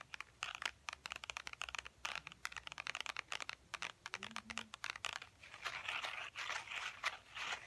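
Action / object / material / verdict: tap / faux ostrich-textured leather wallet / faux leather / none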